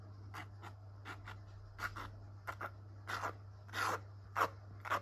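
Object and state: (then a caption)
Palette knife scraping wet acrylic paint on a canvas board. A metal palette knife drags thick purple and blue acrylic paint in strokes across a small canvas panel held in a gloved hand, the canvas board still wet with paint. Short, soft scraping rubs repeat in uneven bursts, with a bright texture peaking near 1 kHz. A steady low hum runs underneath throughout.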